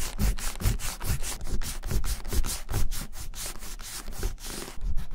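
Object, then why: Leather wallet rubbed with an eraser block. A closed, brown, embossed vintage Gucci leather bifold wallet lies on a white surface and is rubbed back and forth with a white leather-cleaning eraser block held in the fingers. The result is a fast, uneven run of scratchy rubbing strokes, with bright hiss over soft low thuds. Eraser crumbs build up as it goes.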